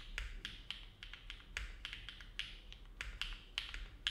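Both hands' fingertips type steadily on a compact Neo70 mechanical keyboard with an aluminum plate, foam dampening, and dark GMK plastic keycaps, resting on a desk mat. About seventeen short, separate keystrokes make crisp, bright clacks that die away almost instantly over a faint low hum.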